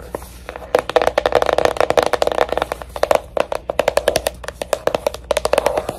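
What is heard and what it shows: A jewelry box is tapped rapidly with dozens of quick, dry taps in fast clusters. Each tap has a hollow tone around 580 Hz with a bright click and almost no ring.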